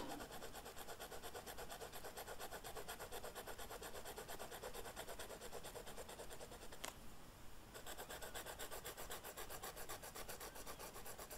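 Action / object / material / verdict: scrape / felt-tip marker on flocked velvet paper / velvet flocking / none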